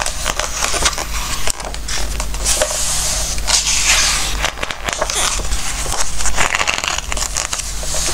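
A page of a glossy-paper Christmas book is lifted and turned, then fingertips rub across the glossy surface. The result is a close, crackly papery rustle and scraping with bright high texture, riding over a steady low hum throughout.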